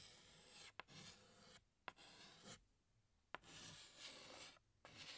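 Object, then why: Chalk stick on a slate chalkboard. A hand scratches a tan chalk stick across a large, flat black chalkboard while drawing a flower outline. Bright, raspy strokes come in bursts separated by short quiet gaps, with three sharp clicks where the chalk meets the board.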